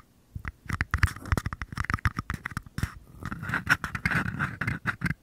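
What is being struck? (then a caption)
Small paper cups. Short nails tap and scratch the bases of two identical small, empty, hollow paper cups held upside down near the microphone. A quick, uneven run of dry taps and scrapes gives each hit a soft low thump and a hollow papery ring around 1.5 kHz that dies away almost at once.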